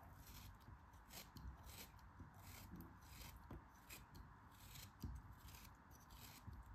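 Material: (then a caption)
Kinetic sand. A metal craft knife cuts slices off the top edge of a solid yellow kinetic sand block held in the hands. Soft, gritty crunching and scraping strokes come in repeated bright bursts over a low, steady rumble.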